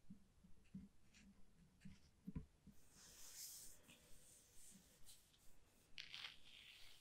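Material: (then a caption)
Paper. A wet round paintbrush held in the fingertips strokes and dabs across a flat sheet of thick white watercolor paper lying on a wooden table. Quiet, soft brushing and dabbing are broken by brighter scratchy rasps as the bristles drag across the paper's surface.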